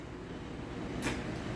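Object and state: Nothing is struck.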